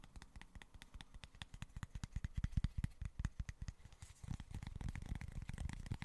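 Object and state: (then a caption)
Cork board. Fingertips and short nails quickly tap and scratch a small, flat cork board, producing rapid, irregular, dull taps that are heavy in the lows and die away almost instantly. About two-thirds of the way through, the strokes grow denser and more continuous, adding a faint, brighter scratchy hiss.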